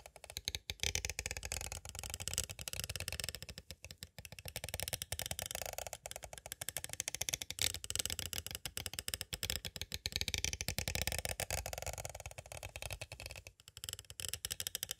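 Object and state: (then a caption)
Plastic cassette tape case. A small, hollow, clear plastic cassette tape case is tapped on its edges with two green plastic stick tools. The result is a fast, steady stream of bright, dry plastic clicks and ticks with very short decay, pausing briefly around 4 seconds and 13.5 seconds.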